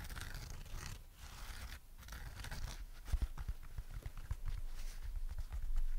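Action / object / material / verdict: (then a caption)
scrape / banana-shaped foam sponge / foam / none. A yellow, dry, porous foam sponge shaped like a banana, with a hanging cord, is held and bent in both hands while long nails scratch and rub across it. Soft, dense crinkly scraping and rustling runs throughout, broken by sharp, quick crackling ticks, with a low rumbling thump from the handling underneath.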